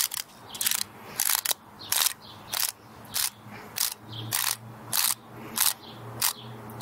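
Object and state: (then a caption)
Dry pinecone. A small, solid, dry brown pinecone with woody scales is held in both hands while long nails run across and flick its scales. The result is a repeated, bright, dry clicking scratch in short bursts at an uneven pace, with a faint low hum underneath.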